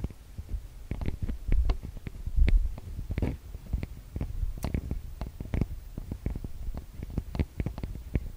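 Long nails and fingertips tap and rub on the metal mesh microphone capsules of a TASCAM DR-40X recorder. The result is a steady run of close, boomy low thumps with sharp clicks and soft scratchy rubbing, each tap dying away almost instantly.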